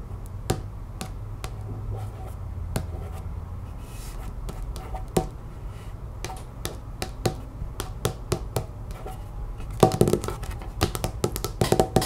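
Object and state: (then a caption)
Cardstock print card tapped with nails. Long nails on the fingertips of both hands tap rapidly on a thin cardstock art print card lying on a wooden table. Each tap is a sharp, dry click over a faint low hum, with the taps growing denser and louder toward the end.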